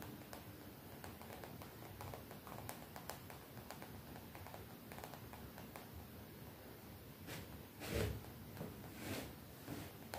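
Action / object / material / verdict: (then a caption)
tap / printed cotton t-shirt / cotton fabric / none. Long nails tap and scratch a colorful graphic-print cotton t-shirt worn on the body, close to the microphone. Soft, dull fabric taps and scratchy rustles run quietly throughout, with a few louder brushing swells near the end.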